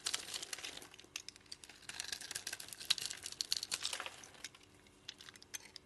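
A utility knife blade scrapes grid-cut cubes off a solid white soap bar with a striped edge, held in the hand, then fingers crumble pieces away. Dense, bright, crinkly scraping and crunching crackles in quick bursts, then fades to scattered soft crumbles near the end.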